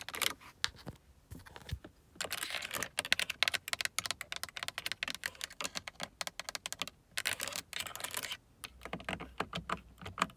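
Long acrylic nails tap and scratch across a car door armrest switch panel, a solidly mounted hard plastic panel with a carbon-fibre look and several window buttons. Quick, bright clicking taps come in dense runs, mixed with stretches of dry, hissy scratching. Each sound is short and stops almost at once, with very little low end.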